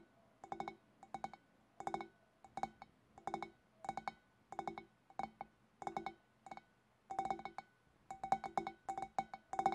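Fingernails tap on a glass fish bowl in quick bursts of clicking clinks, with a ringing tone around 780 Hz and bright edges. Each tap dies away almost at once, and the bursts repeat at an uneven pace throughout.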